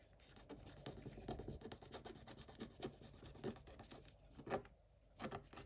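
A wooden stick scratches the coating of a scratch-off coated paper scratch-art page while a hand partly covers the page. The quiet, continuous scratchy rubbing is broken by short, brighter rasping strokes that stand out from the steady scraping.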